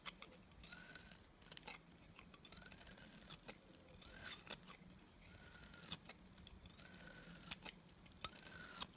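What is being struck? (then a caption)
Bar of soap. A solid white oval TIMOTEI bar of dry soap, held in the hand, is shaved with a box cutter blade. Bright, crisp scraping and cutting strokes repeat steadily, each with a faint rising whine and sharp little clicks as the curls break off.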